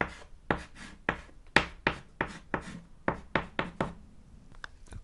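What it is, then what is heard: Chalk on a chalkboard. A white chalk stick writes on a small, flat, solid black chalkboard panel. Twelve sharp knocking strokes tap down one after another, each followed by a short, bright scratching rasp. The taps are dry and brief, centered around 1.9 kHz.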